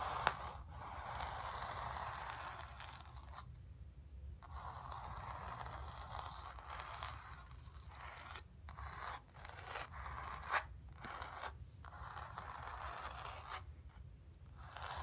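Long nails scratch back and forth across a taut, painted, stretched canvas resting on carpet. The result is a steady, dry, mid-pitched rasping in long strokes broken by brief silent pauses, with a couple of sharp ticks and a faint low hum underneath.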